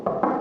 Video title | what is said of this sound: 1ère VISITE d'un IMMEUBLE de RAPPORT ! Comment analyser un immeuble lors d'une visite - Robin Eldin | ça signifie qu'en fait l'immeuble donc est doublé avec une cloison brique et vide d'air